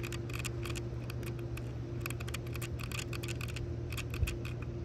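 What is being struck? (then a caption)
Small metal hinge on sunglasses. Long pink nails tap and scratch the small gold metal decorative hinge of plastic-framed sunglasses lying on a towel. Rapid, bright, dry clicks and light scraping flicker throughout over a steady low hum and a faint constant midrange tone.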